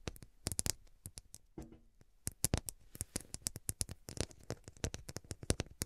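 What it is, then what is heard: Glass-studded cushion scratched with nails. Long fingernails scratch and tap along the faceted glass studs at the edges of a glass-studded pillow held at both sides, producing a quick, irregular run of sharp, bright clicks. Around the middle there is a brief softer scraping stretch before the crisp ticks resume, each dying away almost instantly.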